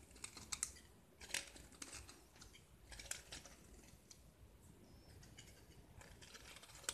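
A small solid white gypsum block with black speckled paint is held in the hand and scraped with a metal utility knife blade, shaving off plaster. Quiet, dry, bright scratching and short crisp scrapes repeat unevenly, with a few sharper louder strokes over a soft hiss.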